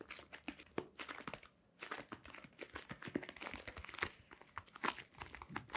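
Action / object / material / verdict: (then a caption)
scrape / cardboard box / cardboard / none. A hollow white cardboard box, held in both hands, is tapped and scratched with long nails and fingertips. Quiet, rapid, dry clicks and scratchy, crinkling strokes with a bright edge die away almost instantly, with a brief lull near the two-second mark.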